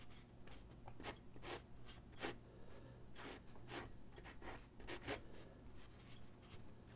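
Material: Paper.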